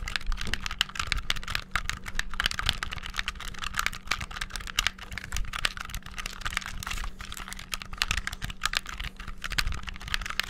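Buttons on a black, hollow, handheld plastic game controller are rapidly pressed with fingertips, producing a dense, continuous stream of sharp plastic clicks and clacks with a bright top and a low thud underneath. The taps come too fast and close together to separate, with no pauses over the whole stretch.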